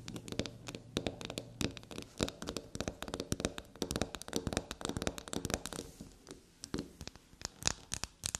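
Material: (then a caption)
Soap. Long black-polished natural nails scratch and tap quickly over the surface of a small, solid, flower-shaped black soap bar held on a table. The sound is a dense run of sharp, dry taps and scratchy bursts that reach into the high range and die away almost instantly. A faint low hum sits underneath during the first two seconds.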